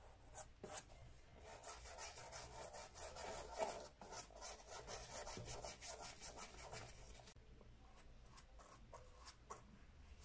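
A small round bristle dauber brush with a wooden handle, held in the fingers, rubs cream onto the brown leather upper of an empty Sperry Top-Sider boat shoe with a white rubber sole in small strokes. Soft, bristly, bright scrubbing strokes repeat quickly and unevenly, then grow quieter toward the end.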